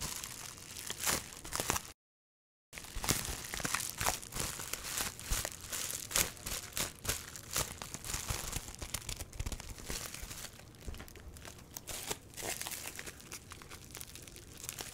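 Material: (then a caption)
Plastic. A bundle of clear plastic bubble wrap is squeezed and rubbed by fingers and nails, giving a steady stream of bright, dense crinkling and crackling with sharp snaps. The sound cuts out completely for under a second near the start, then the crinkling carries on unevenly to the end.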